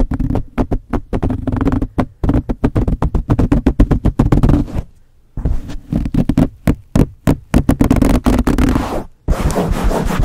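Blue-painted nails on both hands scratch the front and top of a black foam windscreen on a Blue Yeti microphone. The result is a fast, uneven run of deep, low-heavy scratching bursts with a muffled rumble. There are brief silent gaps near the middle and shortly before the end.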